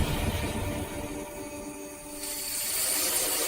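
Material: Nothing is struck.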